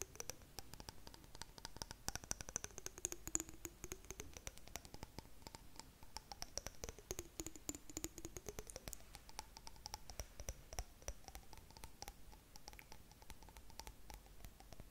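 Long nails tap and scratch on a clear glass jar holding blue contents, making a dense run of quick, sharp clicks with no ring. Faint high and low tones rise and fall slowly underneath the steady tapping for the whole clip.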